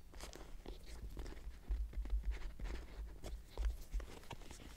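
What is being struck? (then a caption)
Leather purse with metal clasp. Fingertips and short nails tap and scratch the front flap of a small, closed brown leather crossbody purse with a floral print and metal clasp, lying on a bed with contents inside. Quiet, crinkly taps and scratches come in an irregular rhythm over a soft, low, hollow thump that swells in a few louder bursts.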